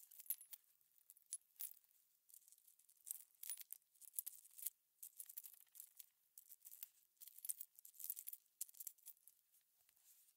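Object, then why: Small aluminum cover-button shells and backs. Gloved fingertips stir and shuffle a pile of small hollow aluminum cover-button shells and backs on a plastic cutting mat. The pieces clink together in quick, bright, tinkly bursts with very short ring, some clusters louder than others, separated by brief quiet gaps.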